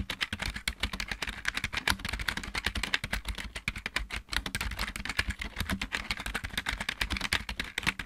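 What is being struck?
Plastic mechanical computer keyboard.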